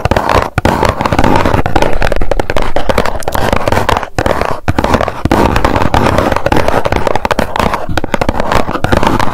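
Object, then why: Small cardboard box. A small, hollow white cardboard box is held in both hands and tapped on its face with long nails. The result is a rapid, dense stream of hollow, low-pitched taps with a little crackle. The taps run together almost without pause.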